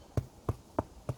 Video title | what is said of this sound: How to make damper | hear that sound? That hollow sound? That's telling you that it's baked.